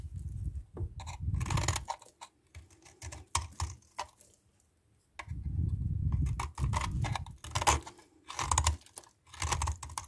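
A metal knife blade scrapes and shaves a solid white bar of soap, and soap dust falls away. Bursts of dry, crisp scraping alternate with short pauses, with a heavy low-end rumble under bright, brittle flaking.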